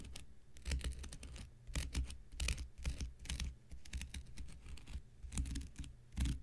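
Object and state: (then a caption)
Cellulose sponge scraped with a knife blade. An X-Acto knife blade scratches the edge and surface of a thick, hand-sized, light blue porous cellulose sponge block held in the hand. Repeated short, dry, raspy scrapes come in quick bursts with bright crackly detail over a steady low hum. Each scrape stops almost at once.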